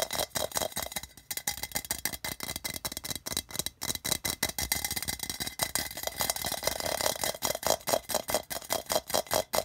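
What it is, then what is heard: Printed tin can. Fingers tap and scratch the printed sides of a hollow, patterned metal tin can resting on red carpet. The result is a fast, uneven stream of short, bright metallic clicks and scrapes with a tinny ring around 645 Hz and very little low end.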